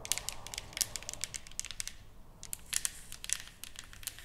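Fingertips and long nails tap and scratch the surface of a flat, solid painted wooden plaque, producing a rapid, uneven series of short, bright clicks with a soft scratchy hiss between them. The taps stop almost instantly with little low body, pause briefly just after two seconds, then resume.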